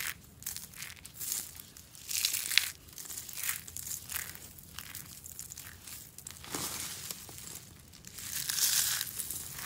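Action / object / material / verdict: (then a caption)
scrape / curled soap shavings / soap / none. Hollow curled shavings of dry green soap are scooped up in both palms and crumbled between the fingers. The result is a run of bright, dry crunching and crinkling bursts, dense in the high range with almost no low end. The bursts swell and fade with short quieter pauses between them.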